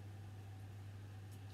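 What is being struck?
Nothing is struck.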